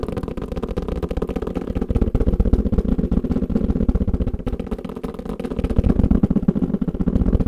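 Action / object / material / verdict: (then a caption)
tap / kalimba carrying case / unknown / none. Fingers tap quickly and continuously on a kalimba carrying case, producing a dense stream of dull, low thuds. The taps are short and muffled with almost no ring. The rhythm is fast and only loosely even.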